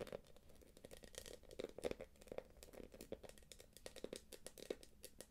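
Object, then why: Small quilted plastic purse. Long nails tap and scratch across the quilted top and edge of a small, hollow, light-blue glossy quilted plastic purse. The result is a dense run of quick, dry clicks and scratchy, crinkly rasps with a bright hiss and a faint hollow tone near 430 Hz. Each tap dies away almost instantly.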